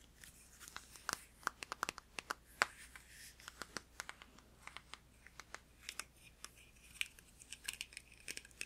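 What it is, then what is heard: Plastic deodorant stick. A hand-sized, filled blue plastic Dove Men+Care deodorant stick is tapped and scratched with fingertips and nails. Dozens of short, sharp, bright clicks and taps come in an irregular rhythm, with faint scratchy rustling between them and almost no low end. Each tap dies away almost instantly.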